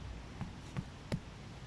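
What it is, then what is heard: Giant puffball mushroom, not solid. Three soft, dull, low thuds ring out as a knuckle knocks on a giant puffball mushroom that already feels a little spongy, to hear whether it is solid white inside or turning into a dusty spore mass. The knocks are short with no ring and dent the puffball, so it does not sound particularly solid.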